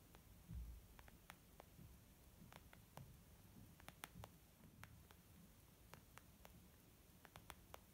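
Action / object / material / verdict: tap / small leather zip makeup bag / leather / none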